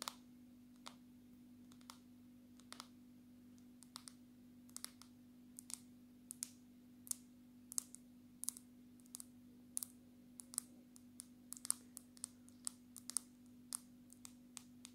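Long natural nails of both hands tap on the glass screen of a black smartphone held close. Sharp, bright clicks come in an irregular stream over a quiet, steady low hum, each tap dying away at once.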